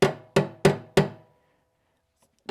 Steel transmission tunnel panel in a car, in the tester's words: do you hear a really deep Hollow sound but you hear it echoing throughout the car